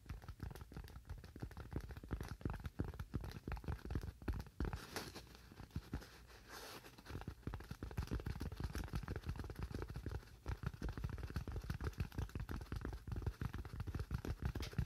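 A solid, hand-sized white styrofoam slab is held in both hands and tapped quickly with fingernails. The taps come in a dense, uneven patter of short, dull, low thuds with a light scratchy crackle, and each one dies away almost instantly.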